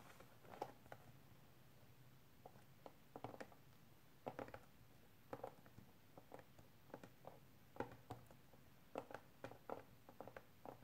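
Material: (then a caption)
Plastic. A small, hollow, rectangular clear hard plastic case, first lying flat and then lifted upright in both hands, is tapped and scratched with painted fingernails. Quiet, dry clicking taps come in irregular bursts with a hollow midrange tone and almost no ring, over a faint low hum.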